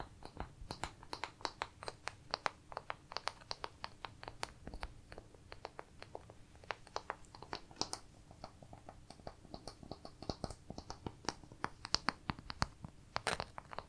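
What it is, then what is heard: Wooden pieces. Pieces of wood are tapped and handled, producing a quick, irregular series of about 45 short, dry, sharp clicks and taps that stop almost instantly. The taps are quiet and bright, with a faint steady low hum underneath.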